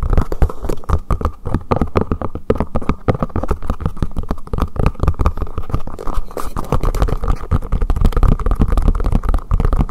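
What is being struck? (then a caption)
Silicone collapsible bowl. Fingertips tap quickly on the top and sides of a hollow green collapsible silicone bowl turned upside down over the microphone. The result is a dense, continuous stream of rapid, muffled thumps with a deep, boomy low-end resonance. Each tap dies away almost instantly, with almost no high or bright content.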